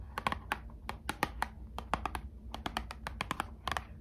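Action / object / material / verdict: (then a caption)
tap / small cardboard card box / cardboard / none. A small, closed Squishmallows trading card box made of thin, hollow printed cardboard is scratched and tapped with long acrylic nails. About 20 quick, sharp clicks sound in an uneven, rapid rhythm, each dying away almost at once, over a faint low hum.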